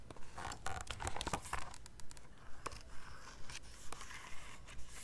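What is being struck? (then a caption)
Glossy paper photo book. Long red-painted nails and fingertips grip, flip and rub the glossy printed pages of a large softcover-style photo book of national parks held open. About fourteen quiet, crisp crinkling page turns and rubs repeat at a steady pace, with bright papery texture over a low background rumble.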